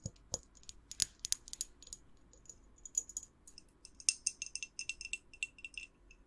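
Long acrylic nails tap the sides of a clear glass jar with a white lid, held in both hands, empty except for a lit tea light inside. A quick run of many short, bright, glassy clicks and taps follows, some with a faint high ring, each dying away almost instantly.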